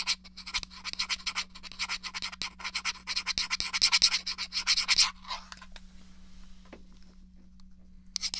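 Fingernails scratch rapidly along the edge of a small, hollow, grey plastic SNES game controller held edge-on, making dense, bright, raspy strokes for about five seconds. The scratching then fades to a soft, quiet rubbing before one short bright burst returns at the end. A steady low hum sits underneath throughout.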